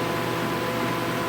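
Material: Nothing is struck.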